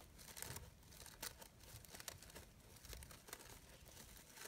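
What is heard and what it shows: A small green-blue synthetic fabric rose brooch, organza-like with glitter edges and hollow layered petals, is rubbed and crinkled by long pink nails and fingertips. Quiet, bright crinkling and rustling is heard, broken by short, crisp crackles over a soft low rumble.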